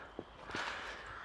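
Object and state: Nothing is struck.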